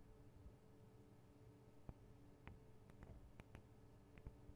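Long acrylic nails tap the small hollow metal microphone capsules, with metal guard wings, on a Tascam DR-40 recorder. The quiet, scattered taps are short, dry clicks with a faint bright edge, set over a steady low hum.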